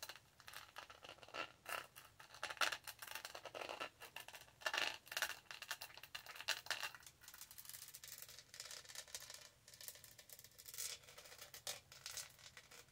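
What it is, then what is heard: Plastic studded tumbler. Long nails scratch and scrape the lid and studded body of a tall, black, hollow plastic tumbler. The result is a quiet, steady run of dense, bright scratching and ticking with almost no low end. Each stroke dies away almost instantly.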